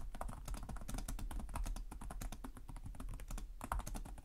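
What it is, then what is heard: Plastic laptop keyboard being typed on. Fingertips with short nails type continuously on the plastic chiclet keyboard of a black laptop resting on a desk. The result is a rapid, steady stream of short, dry key taps that die away almost instantly, with a soft, muted clatter weighted toward low thuds.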